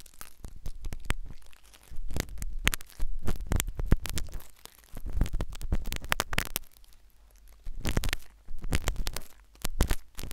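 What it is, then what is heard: Silicone ear microphone scraped. A metal syringe needle is inserted into the ear canal of a solid, white, soft silicone ear replica on a binaural microphone and scratched around inside it. Close, muffled scraping and crackling comes in bursts of a second or so, separated by brief near-silent gaps. Deep, rumbling thumps dominate, with only faint bright crinkles on top.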